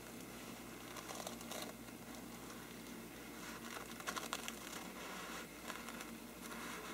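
A hollow faux-parchment paper lampshade is first brushed with a small brush, then scratched with fingertips on its paper side. The result is a steady, quiet, crinkly hiss with brighter scratchy bursts, strongest around the middle, over a faint low hum.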